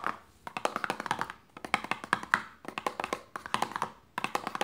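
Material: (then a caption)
Paperboard. A small, closed, hollow printed paperboard lotion box lies on pink fabric and is tapped quickly on its top and sides with long fingernails. Rapid bursts of light, dry, hollow clicks and taps come in quick runs separated by brief pauses. Each tap has a papery tone around 1.4 kHz and dies away almost instantly.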